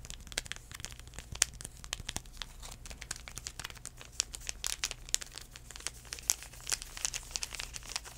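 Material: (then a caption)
Foil paper. Fingertips scratch and crinkle a small sealed foil-paper sanitizing wipe sachet held in the hands. A rapid run of short, dry, bright crackles and scratches with sharper snaps here and there sits over a faint steady low hum.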